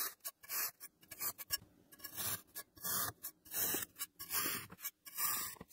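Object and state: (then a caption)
Kinetic sand block being scraped. An iridescent metal knife blade scores crosshatch lines into the top of solid, packed teal kinetic sand in a small clear plastic container held in one hand. About thirteen short, bright, gritty scraping strokes come in a quick, uneven rhythm, each with a soft rasp and almost no low end.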